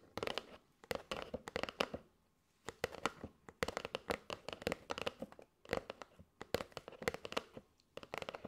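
Long nails tap and scratch across the face and edges of a flat kraft cardboard box with a clear plastic window, full of striped paper straws. Quick, dry clicks and crinkly scratching come in rapid bursts with bright edges and almost no ring, broken by a short pause near the two-second mark.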